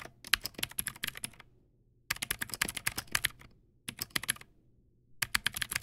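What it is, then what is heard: Plastic mechanical keyboard. Fingertips type on a Teamwolf Zhuque+ X08 backlit mechanical keyboard with white plastic keycaps and clicky blue switches. Four bursts of rapid, sharp, bright clicks are separated by short quiet pauses. Each keystroke stops almost instantly, with very little low end.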